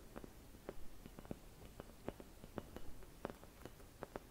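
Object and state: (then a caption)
Glass Christmas bauble. Fingertips with long red nails scratch and tap a hollow, empty clear glass Christmas bauble painted with white swirls. The quiet clip is a series of short, sharp glassy ticks with a faint ring around 390 Hz, set over a low, soft scratching hiss. Each tap dies away almost at once.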